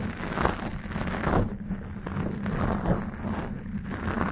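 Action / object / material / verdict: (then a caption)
scrape / foam microphone windscreen / foam / none. A black foam cover on a Blue Yeti microphone is scratched slowly with long acrylic nails. The result is a steady, muffled, low rumbling rustle with soft swelling strokes and almost no bright content.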